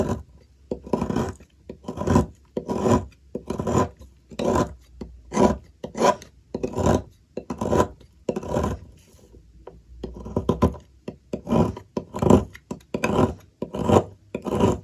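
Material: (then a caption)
Soap. A metal blade repeatedly scrapes and shaves the cut end of a solid white bar of soap held by fingertips, leaving a pile of shavings beside it. Each stroke makes a short, dry rasping scrape with a bright, gritty texture, in a steady series with a brief lull partway through.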